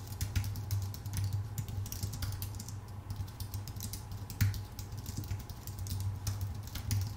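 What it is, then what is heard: Aluminum and plastic computer keyboard being typed on. Both hands type with their fingertips on a full-size white Apple Magic Keyboard, with plastic keycaps on a thin aluminum body. Rapid, continuous keystrokes give short, bright clicks and soft taps that stop quickly, over a steady low hum.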